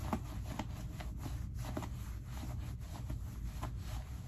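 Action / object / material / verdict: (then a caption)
scrape / cotton denim jeans pockets / cotton denim / none. Hands push into the front pockets of light-wash skinny cotton denim jeans, rubbing the denim and the lining. It makes a soft, low, steady rustle with repeated faint brushing strokes.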